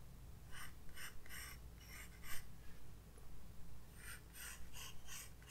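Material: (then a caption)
Paper. A graphite pencil sketches outline strokes on a white paper page of a spiral-bound sketchbook resting on a desk. Short, bright, scratchy strokes come in irregular bursts over a quiet, steady low hum.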